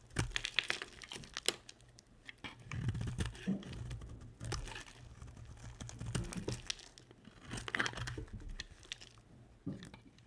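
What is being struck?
Bar of soap.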